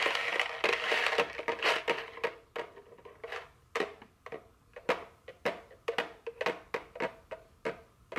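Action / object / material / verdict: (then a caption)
tap / small cardboard candy box / cardboard / none. A small printed cardboard chocolate candy box, likely full, is held in the hand and scratched and tapped with very long fingernails. A dense, papery scratching opens the clip, then gives way to sharp, dry, bright taps at an uneven pace. Each tap dies away almost instantly.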